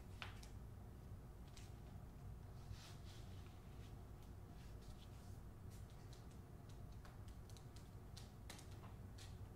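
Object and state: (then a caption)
Hardcover book with paper dust jacket. Long acrylic nails tap and scratch the front cover of a solid, hand-sized hardcover book, *The Man Who Could Move Clouds*, held upright in its glossy paper dust jacket. Quiet, brief, bright clicks and papery scratches sit over a steady low hum, each tap fading quickly.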